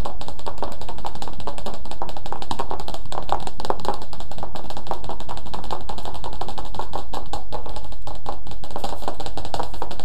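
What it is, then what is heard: Paperback picture book. Fingertips tap rapidly on the glossy cover of a thin, flat, solid paper children's paperback picture book, "Filipino Children's Favorite Stories," held above the head in both hands. The taps blur into a dense, continuous patter of dry, papery clicks centered in the midrange. The rhythm stays fast and even for the whole clip.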